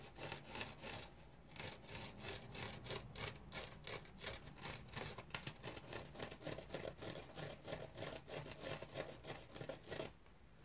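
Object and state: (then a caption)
Foam bath sponge scratched with fingernails. Fingernails scratch a dry teal foam bath sponge with a rope loop, making quick, repeated rasping strokes at roughly three per second. The scratches have a bright, airy texture over a soft low rumble, and they fade to quiet at the very end.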